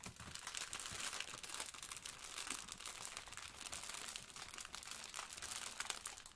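Yellow rubber-gloved fingertips press and scratch a blue sponge in a clear plastic wrapper, with a plastic apron nearby. The result is a steady, quiet run of bright, dense crinkling and scratching with almost no low end, lasting the whole clip.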